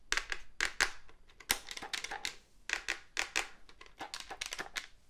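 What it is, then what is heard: Plastic phone handset tapped and scratched. Fingertips and nails tap and scratch the black plastic casing and keypad keys of a hollow cordless phone handset. A quick, uneven series of sharp, bright, dry clicks and short scratchy rasps comes in clusters, each ending almost at once with little low end.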